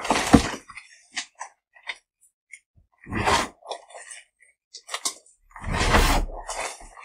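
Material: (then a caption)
Magnesium carbonate. A pile of crushed white gym chalk (magnesium carbonate) block, in solid crumbly chunks and fine powder, is squeezed, crumbled and rubbed between bare fingertips and the palms of both hands. Three loud, broad crunching bursts come at the start, the middle and the end, with short dry crackles and ticks between them.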